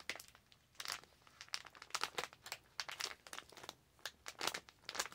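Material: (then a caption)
Plastic. A clear/white plastic resealable zip pouch is held up and crinkled and scratched with long acrylic nails. Quiet, bright, crisp crinkles come in rapid, irregular bursts with short pauses between them, each snap dying away almost at once, with almost no low end.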